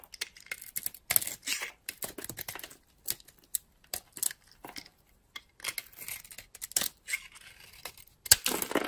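A utility-knife blade carves flakes off a solid, dry oval bar of soap with a purple shell and white core, held in the hand. Irregular bursts of crisp, bright scraping and crackling come with each cut, separated by short silences. The clip ends with one sharper, louder crunch.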